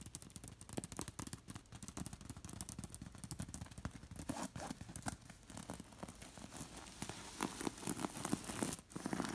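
Long nails scratch and rake over a stuffed linen pillow with rows of small glass beads sewn in a lattice pattern. The result is a continuous stream of dense, quick clicky scrapes and crackles that builds to brighter, sharper rasping toward the end.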